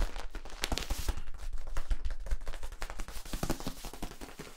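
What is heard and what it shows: A long, hollow, flexible yellow ribbed plastic tube is bent and held while fingers rub and tap its ridges. The result is a continuous stream of irregular, dry clicks and scratchy rubbing with very short ring and a low thump underneath, the taps coming in quick uneven bursts throughout.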